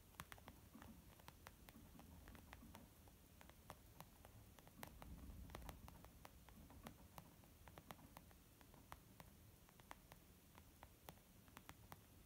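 Slow, gentle tapping on a leather makeup bag, a steady run of soft, quiet taps with short, bright clicks over a low, muffled rumble that swells slightly midway.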